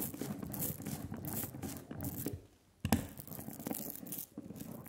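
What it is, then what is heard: Tacky printing ink on a glass slab. A hand-held rubber brayer is rolled repeatedly back and forth over a layer of sticky black printing ink on a glass slab, making a continuous tacky crackle and crinkle. The rolling stops briefly near the middle, then resumes with a sharp sticky pop before it settles back into the crackling strokes.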